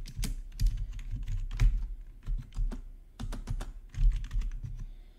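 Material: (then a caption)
Plastic. Both hands type with their fingertips on a black plastic RGB backlit gaming keyboard. An irregular run of quick, dry key clacks has bright click tops over a heavy low thump, each stroke dying away almost at once. The typing comes in uneven bursts with brief pauses between them.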